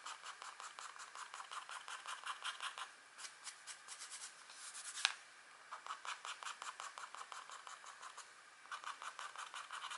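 A green stylus tip scrapes a thin scratch art paper sheet, a black coating over a metallic layer, in short strokes while detailing a deer. Rapid, dry, bright scratching strokes come in quick bursts with brief pauses, and a single sharper tick stands out near the middle.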